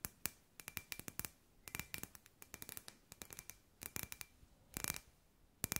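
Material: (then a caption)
Glass. Long grey nails tap a hand-sized, hollow, clear glass sphere with LED fairy lights inside. Quick bursts of sharp, bright clicks come in irregular clusters, each tap dying almost at once, with a faint glassy ring near 2.5 kHz under the hits.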